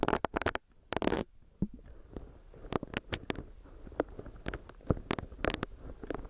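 Long nails tap and scratch on a small, solid pink silicone facial brush with its bristle pad pressed against the microphone. Quick, sharp, dry taps with a brief low thump come in uneven clusters over a soft, scratchy rustle, cutting off almost instantly with no ring.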